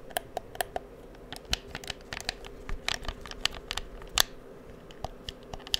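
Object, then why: Plastic game controller. Fingertips click the buttons and triggers of a hollow black plastic PS4 controller held beside the microphone. About twenty quick, dry, bright clicks and taps come at irregular intervals, each dying away almost instantly over a faint steady background hum.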